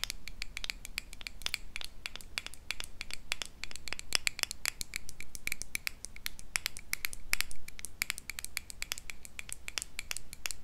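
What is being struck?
Small glass jar with metal lid.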